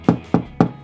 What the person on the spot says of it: the pitch of the knock on a wall there's a great way of telling whether you've got solid Timber behind or not